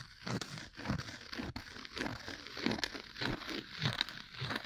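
A thin, solid, round cork coaster held upright next to the microphone is scratched with two bamboo ear picks held together in repeated strokes. The result is a dry, crinkly, crackling scratch in short, unevenly spaced bursts, with a bright, airy top and some low rustle underneath.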